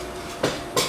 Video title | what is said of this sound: Chef Chuy Elizondo Martínez Corona Cooking Demonstration | if it sounds hollow it's ready